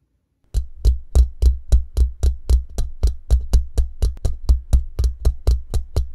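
Both hands tap quickly with fingertips and short nails on the hollow, rounded steel mesh grille with a metal band of a condenser microphone in a shock mount. About 24 fast taps land at a brisk, slightly uneven pace, each a deep, booming thump around 60 Hz topped with a short, bright click that dies away almost at once.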